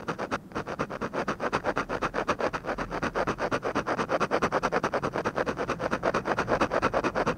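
A ballpoint pen rubs and scratches rapid, repeated hatching strokes across a flat paper drawing sheet. The result is a steady, rhythmic series of short, dry scratches, mostly midrange with little low end.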